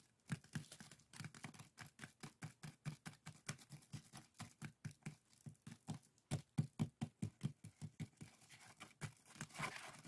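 A small, hollow, empty pair of woven split-bamboo bokjori strainers rests on a table while fingertips and nails scratch across the woven strips. This produces a quiet, fast, uneven run of dry scratching and crinkling strokes that are short with no ring. The strokes fall around two per second, with a low woody body and a faint bright rasp on top.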